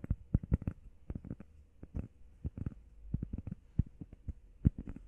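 Long painted nails and fingertips tap fast on a flat, solid, hand-sized grey textured EVA foam workout pad shaped like a heart, and also scratch across it. The taps are soft, dull, low thuds that stop dead with no ring, in quick irregular bursts, with faint scratchy rustles between them.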